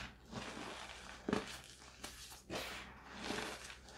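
Two hands with long metallic-painted nails scoop, squeeze and rub handfuls of a loose pile of blue-tinted gym chalk, both reformed and fresh, between the fingers and palms. Soft, powdery chunks crumble with dry crunching and bright, hissy rustling that swells and fades in uneven bursts, with one sharper crunch partway through.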